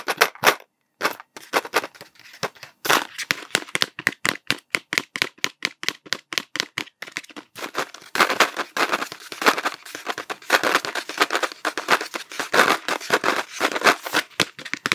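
A cardboard Smarties tube, held horizontally, is tapped and scratched with fingertips. Rapid, dry, hollow taps with a mid-range papery knock around 1.5 kHz come in quick rows for the first half. They give way to denser, brighter scratching mixed with taps, each sound dying away almost instantly.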